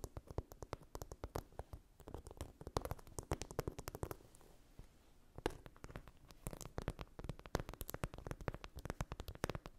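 Long nails scratch along the surface of a blue chunky-glitter phone case with camera cutouts, making a dense stream of quick, dry crackles and clicks. The scratching runs steadily, softens into a quieter, sparser stretch around the middle, then picks up again with sharp little ticks to the end.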